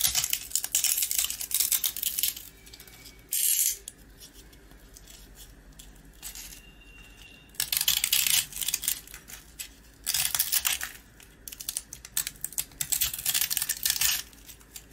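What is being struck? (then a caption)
Coated round rusk. A box-cutter blade carves and scrapes a round, white-coated rusk held in the hand; the rusk is dry and crumbly inside. Bright, dry scraping and crackling come in bursts of grating and crunching, separated by quiet pauses, with almost no low end.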